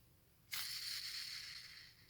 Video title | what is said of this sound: how to shim a gel blaster gearbox (ultimate SCAR episode2) | flick it with your finger like that and spin. You can hear that. It's a nice free spinning sound there.